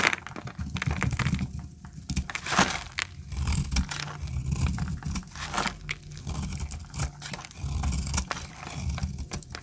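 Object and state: Dry soap bar being scraped.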